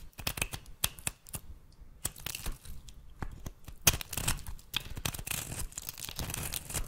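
A metal blade scrapes and cuts thin flakes from the end of a solid oval bar of rancid dark brown soap held in the hand. Dense, dry crackling and crisp tearing scrapes come in quick sharp bursts with bright, hissy edges and a soft low rumble beneath.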